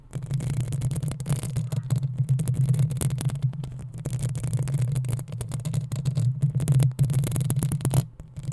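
Long acrylic nails of both hands scratch and tap the metal mesh grille over the hollow capsule head of a black desktop USB microphone on a stand. The result is a continuous, dense scratching with quick taps, heavy in low, boomy rumble around 137 Hz. Faint high scratchy hiss sits above it, and the texture dips briefly near the end.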